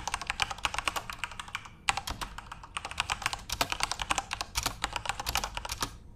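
Fingertips return to the keys of a backlit plastic RGB Corsair mechanical keyboard and type in rapid bursts of short, bright clicks. The keystrokes have almost no low end and die out quickly, with brief pauses near the two- and three-second marks before the typing picks back up.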